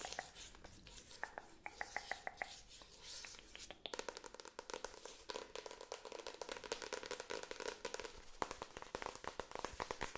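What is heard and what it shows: Long acrylic nails tap and scratch quickly across the front paper cover and spine of a solid, medium-sized paperback book held up in the air. The result is a dense run of sharp, dry clicks and bright scratchy rasps with almost no ring after each hit.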